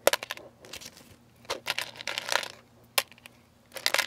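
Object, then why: Sugar-coated candies in a plastic tub. Fingertips with rings stir and sift through a large clear plastic food container about half full of small hard sugar-shelled candies, jelly beans and coated chocolates. Bursts of bright, dry clicking and rattling come as the candies knock against each other and the plastic walls, with quiet pauses between the stirs. A faint low hum runs underneath.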